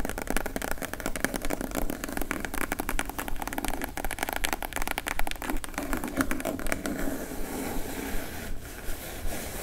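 Long pointed acrylic nails tap and scratch the lid of a small, plain brown corrugated cardboard shipping box that sits hollow on a table. Rapid, uneven clicking taps with a dull, low hollow body fill most of the clip. Toward the end they thin into softer scratching.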